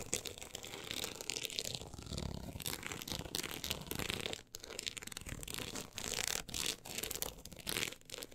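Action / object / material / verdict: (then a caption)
scrape / closed hardcover book with an embossed, woven-texture cover / unknown / none. Long acrylic nails scratch across the woven-look embossed cover of a closed, solid book lying flat. The result is a steady, dense, bright rasping texture with quick crackly strokes, a brief drop near the middle, and renewed scratching afterward.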